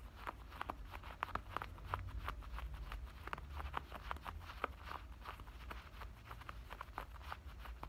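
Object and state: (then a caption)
Denim shorts waistband scratched. Fingernails on both hands scratch the waistband of black denim shorts, making a steady run of quick, dry, rasping scrapes with a midrange bite. A low, constant rumble sits underneath.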